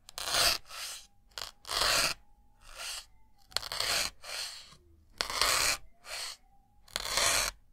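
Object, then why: Melamine foam sponge. A white solid block of melamine foam is repeatedly pierced with a thin metal needle. Each stab gives a short, bright, crunchy rasp, and these come in irregular bursts separated by near silence. A faint steady tone lingers underneath.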